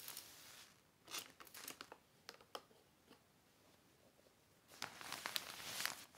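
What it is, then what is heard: Heavy plastic sheet crinkling. A hand presses and smooths a large, thin, black heavy plastic sheet or cover lying flat on a red blanket. Soft, bright crinkles come in irregular bursts, separated by quiet pauses, with a denser rustling spell near the end.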